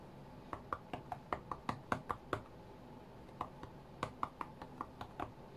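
Fingertips of both hands tap the glass touchscreen of an iPad tablet lying flat on a cutting mat. Nineteen short, dull taps with a midrange knock die away almost instantly, arriving in a quick, uneven rhythm with a pause of about a second in the middle.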